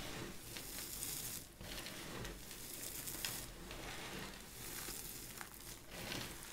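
Bare hands rub flat across a pile of dry purple and cream soap shavings on a white surface, then grab and squeeze handfuls, crushing the brittle flakes. The result is a steady dry crinkling and crunching with bright, sizzle-like texture and a few louder crunching surges.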